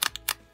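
A stiff vinyl cover on a handmade tiny sketchbook, one that a sewing machine's feed dogs had chewed into, is flexed and tapped, giving four quick, bright, crinkly clicks with almost no ring. The sound is crispy and high-pitched, crisper than a softer vinyl sketchbook cover with a lower tone.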